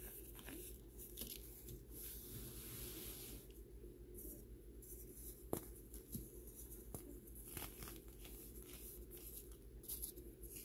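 A small, dry, powdery white block of compressed baking soda is broken apart and crumbled between bare fingers and thumbs, with an identical stack of untouched blocks sitting behind it. A steady, soft, low-pitched crunching and grinding runs throughout, with a few sharper snaps standing out, as the block breaks down into chunks and powder.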